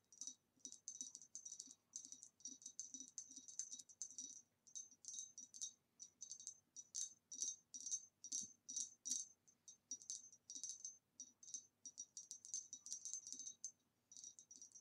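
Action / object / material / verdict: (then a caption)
tap / ribbed glass vase / glass / none. Long nails tap rapidly on the neck of an upright, hollow, empty green ribbed glass vase in a retro style. Quick bursts of light, bright glassy clicks with a high ringing tone repeat steadily, each fading fast, with a faint low undertone beneath.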